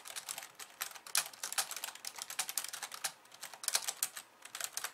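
Fast two-handed typing with long nails on a pink plastic slim keyboard with white keys. Rapid, bright plastic clicks and taps come in dense bursts with almost no low end, each tap dying away almost at once, with brief pauses near the three-second mark and again before the end.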